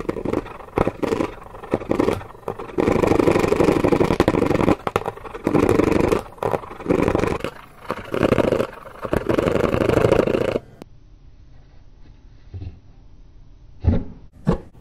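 A blue plastic tool is dragged and scraped fast across the printed top of a hollow, smartphone-sized white cardboard phone box held in one hand. Choppy bursts of dry, mid-range scratching start and stop for about ten seconds, then the sound drops to near quiet with a few short, sharp scrapes at the end.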